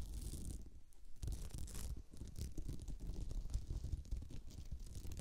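Long nails scratch and tap a thin, solid, flat, sparkly beaded glitter placemat resting on the microphone. The result is a continuous, dense, low rumbling scrape with quick, short taps and rustling grit throughout.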